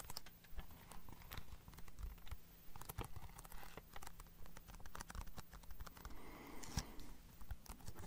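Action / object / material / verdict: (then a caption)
tap / hard plastic DVD case / plastic / none. A small, hollow, closed Harry Potter DVD case of hard plastic with a printed cover sleeve is held in one hand close to the microphone and tapped with the fingertips and nails of the other hand. The result is a quick, irregular run of short, dry clicks and taps with almost no ring, at a quiet level with a low hum underneath.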